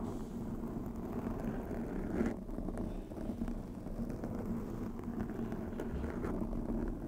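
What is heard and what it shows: Long pink acrylic nails scratch and rub over a black foam windscreen on a white microphone. The result is a steady, muffled, crackling rumble, heavy in the lows with a faint hum near 230 Hz and almost nothing bright. It continues unbroken for about seven seconds.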